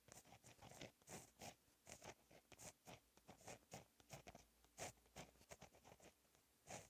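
A fine-tip gel pen held in the fingers writes Korean cursive in blue ink on a lined black paper notebook page lying flat on a solid surface. Quiet, continuous scratching of the pen tip on paper comes in many short, bright strokes with brief pauses between them.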